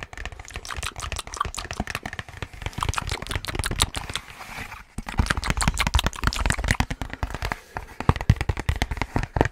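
Fingertips and nails tap quickly on a long, rectangular, white cardboard box that is hollow, closed and apparently empty, held close to the microphone. Dozens of rapid, dry taps run in an uneven rhythm, mixing dull, hollow low thumps with bright nail clicks, each dying away almost at once. A brief lull near the middle breaks the tapping before it resumes just as fast.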